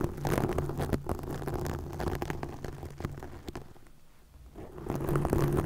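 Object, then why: Plastic mesh netting. Long nails scratch and flutter over green plastic mesh netting stretched across a microphone, giving a dense, muffled rumbling crackle heavy in the low end. The scratching thins out and quiets in the middle before building back up to full intensity at the end.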